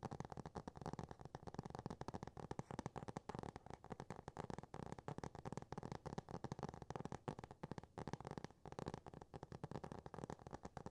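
Fingernails rapidly tap and scratch the solid laminated cardboard front cover of a Dr. Seuss hardcover book, up close. The result is a dense, continuous stream of short, dull clicks and scratchy rasps, weighted toward the low end, with each tap dying away almost instantly.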